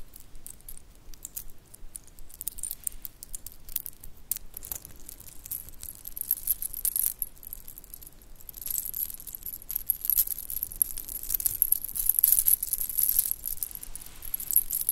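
A shell-chip bracelet with white beads and silver metal spacers is held between both hands while fingertips and long nails roll and jingle the shells and beads together. The result is a quiet, steady patter of tiny bright clicks and clinks that grows busier and louder in the second half.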